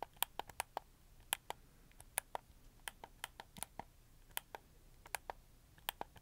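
A red camo plastic PS4 game controller is held in both hands while the thumbs click its face buttons and joysticks. About 23 quiet, sharp plastic clicks sound in an uneven rhythm over a faint background hiss. Each click is bright and dies away almost instantly.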